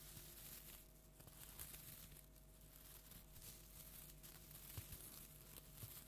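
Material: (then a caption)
Plastic tinsel. A large, flat orange plastic tinsel jack-o'-lantern decoration is held upright and scratched with long nails. The result is a continuous, soft, bright crinkling and rustling with a steady low hum underneath.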